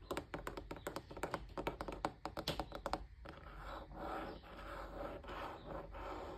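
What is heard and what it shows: Fingertips and nails tap quickly along the ridged, curved rim of a large, hollow off-white plastic appliance housing, possibly a fan or air purifier, with a vent grille below. About three seconds of rapid, crisp, hollow clicks give way to a steady, soft scratching rasp along the rim.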